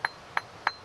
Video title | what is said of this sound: *Ray Mears* Wild Food part 2 | if it's a good piece it should have a real crystal sound like that that means there aren't so many flaws in the Flint that will cause me problems